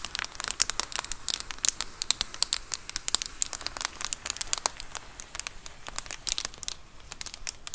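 Long acrylic nails scratch and tap a large white plastic Amazon Prime bubble mailer lying flat. Rapid, dense bright crinkles and sharp clicking taps come in quick bursts over a quiet background, with very little low end.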